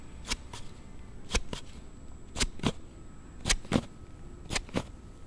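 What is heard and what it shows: A Galaxy Note7 phone sits in a hard plastic sliding case while a thumb quickly slides the panel open and closed. Ten short, bright plastic snaps come in five quick pairs, each click dying away almost at once over a faint low hum.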